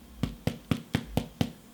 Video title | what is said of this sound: Bacon on home made sandwich bread with red onion marmalade | the way to tell if the bread is ready is to listen. You hear that hollow sound? That tells me that my bread is ready.